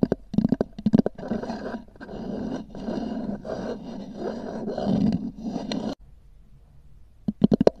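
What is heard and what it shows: Long nails tap and scratch a small, hollow black oval hard-shell EVA zip case with a textured cover. Quick hollow taps open the clip, followed by several seconds of dense, rasping scratches with a warm low-mid body. After a short quiet pause, another rapid burst of taps closes the clip.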